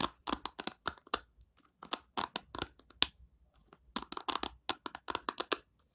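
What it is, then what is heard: Plastic hairbrush bristles. Long nails scratch and flick across the white plastic pin bristles set in the cushion of an oval hairbrush with an orange and purple plastic body. The result is a quick series of short, bright, crackly scratches in clustered bursts, with brief pauses between groups and almost no low end.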